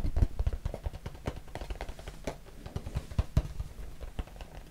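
A small, hollow, closed white cardboard box is tapped and scratched with fingertips and nails. Quick, dull, low thuds come in an irregular stream with soft scratching between them, and each tap dies away almost at once.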